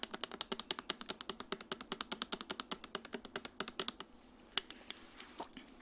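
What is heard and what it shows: A medium clear plastic Dasani bottle with a green cap, hollow and partly filled with water, is held in the hand while long nails tap rapidly on its body and touch the cap area. The taps are a quick, steady run of sharp, bright, dry clicks with almost no ring. After about four seconds they thin out to a few scattered taps and faint brushing sounds.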